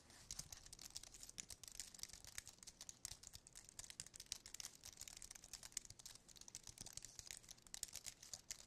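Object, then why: Aluminium and plastic wireless keyboard. Fingertips tap quickly on the keys of a slim white aluminium and plastic wireless keyboard held in the hand. The result is a quiet, dense, continuous stream of crisp, bright clicks with very short decay and almost no low end, lasting about nine seconds.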